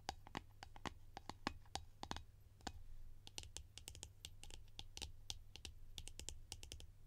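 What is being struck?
Plastic jar lid.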